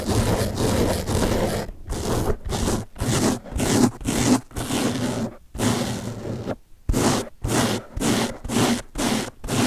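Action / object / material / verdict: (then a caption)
scrape / open-cell foam sponge / foam / none. Fingertips scratch and rub the top and side of a large blue open-cell foam car sponge held in the other hand. About fourteen rough, hissy scraping strokes come in an uneven rhythm, each a broad rasp with a bright edge and a low, dense rustle, separated by short silent gaps.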